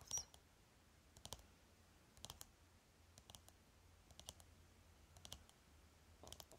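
Fingernails tap the cap of a rectangular lipstick tube with a shiny plastic case held in the hand, with other items nearby left untouched. Bright, dry plastic clicks come in seven quick clusters of two or three taps, about one cluster per second, over a low, steady hum.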